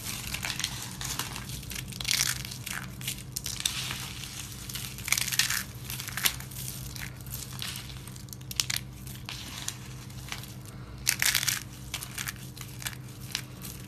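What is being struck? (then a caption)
Soap flakes. A hand with lavender nails presses, rubs and crushes a pile of small, dry, brittle pink and white soap chips on a surface with its fingertips. The result is a steady, bright crinkling crunch, broken by louder bursts of crushing and a faint low hum beneath.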